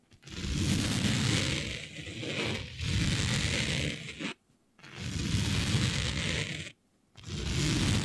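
Long nails scratch across a smooth synthetic fabric printed with planets, laid flat. Long, sustained scraping strokes are separated by brief silences, each a dense rustling rasp with a heavy low rumble and a bright, hissy top.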